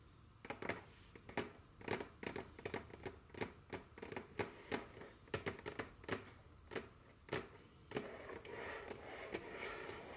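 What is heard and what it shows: Very long, curved fingernails scratch and tap across a solid, dark wooden tabletop, making a quick run of sharp, dry clicks with short scraping strokes between them. Near the end, the clicks give way to a steadier, hissing rub against the wood.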